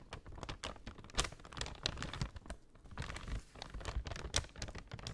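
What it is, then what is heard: Paper bag being scratched and crinkled. Long nails scratch along the edge of a folded brown kraft paper shopping bag and crinkle it. Quiet, dense crackling and scratchy rustles come in irregular bursts, with a few sharper, brighter crinkles standing out over a soft low rumble.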